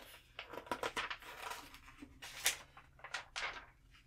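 The thin pages of an open glossy trade magazine lying on a table are flipped by hand, with long nails catching the page edges and palms then rubbing flat over the pages. Quiet, bright papery rustles and crisp flicks come in uneven bursts, with very little low end. Soft swishing slides follow, and each sound dies away quickly.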